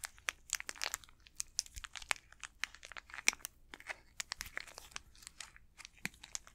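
Fingertips crinkle and squeeze the plastic wrapper of an unopened Snickers candy bar. Quiet, bright, crackly crinkles and sharp snaps come in quick, irregular bursts with almost no low end, and each one stops dead with no ring.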